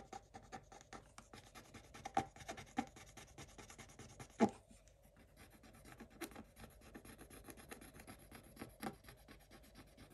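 A wooden stick tip scratches away the remaining black coating on a scratch-art paper page with a pink picture revealed. Quiet, rapid, uneven scratching strokes rasp across the paper throughout, with a few sharper, louder scrapes standing out near the 2, 3 and 4.5 second marks.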